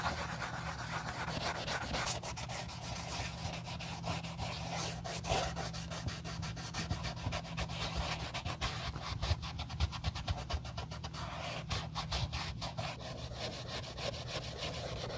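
A wool dauber rubs dye along the side and sole edge of an empty brown leather Josef Seibel sandal, part of refurbishing old leather shoes. The clip is steady soft scrubbing and brushing with a low, dense hum underneath and many quick, faint bright scratches layered on top.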